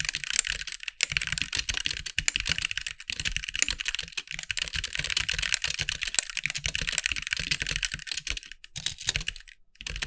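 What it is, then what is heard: Plastic mechanical keyboard. Fingertips of both hands type steadily on a compact backlit mechanical keyboard with white plastic keycaps. The result is a fast, dense stream of short, bright plastic clicks with a soft low thump under the keystrokes and no ring between them. A brief pause comes near the end before the typing picks up again.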